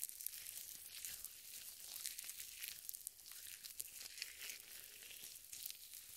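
Purple nitrile gloves smeared with lotion are rubbed together, one hand sliding over the back of the other. The result is a quiet, continuous, bright squelching and crinkling friction with many small crackly spikes and almost no low end.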